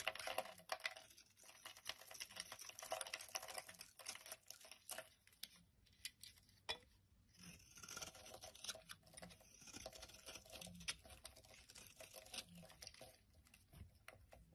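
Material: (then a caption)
Soap. A metal blade shaves crumbly flakes from the end of an opaque yellow solid soap bar held in hand. The result is a quiet, steady run of dry, bright scraping and crackling with short, close-packed ticks that barely ring.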